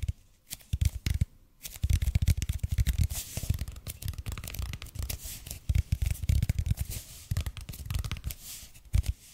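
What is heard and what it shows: Fingertips tap and scratch the surface of a red and white speckled expanded polypropylene foam roller, about 30 cm long, held in both hands. The result is a steady run of soft, dull, low thuds mixed with dry scratchy rustling, arriving in bursts separated by brief quiet gaps. Each tap dies away almost at once.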